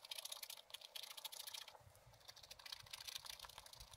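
A wooden stylus tip scratches the coating of a scratch-art page in a spiral-bound book lying flat on a table, in short scratching strokes. The sound is a quiet run of dry, bright, crisp scratches with almost no ring, and a faint low rumble enters partway through.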